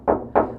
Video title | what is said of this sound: How to soundproof a campervan using Kiravans Sound Blocker | you can really hear that booming that sort of echoy noise